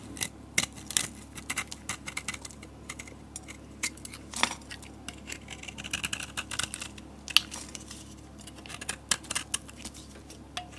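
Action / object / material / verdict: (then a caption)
scrape / bar of soap cut with a knife blade / soap / none. A utility knife blade carves and scrapes curls off a solid tan-yellow bar of soap held in the palm. A rapid, irregular series of crisp, bright scraping and cutting clicks stands out over a faint, steady low hum, and each cut dies away almost instantly.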